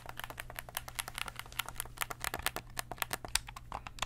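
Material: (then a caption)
Plastic. A black, hand-sized, hollow plastic PlayStation-style gamepad is held in both hands while fingertips press and click its buttons and triggers. A quick, uneven run of sharp, dry, bright clicks follows, each cutting off almost instantly, over a faint steady low hum.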